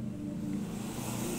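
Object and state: Nothing is struck.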